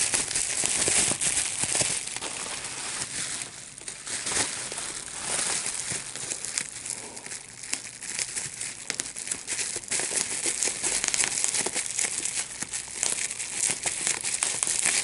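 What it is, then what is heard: Plastic bubble wrap being popped. A large sheet of clear plastic bubble wrap with small air bubbles is held in both hands while the bubbles are popped by pinching with the fingertips and thumbs. A steady stream of sharp, bright pops rides over continuous crinkling of the plastic, with almost no low end and very short decays.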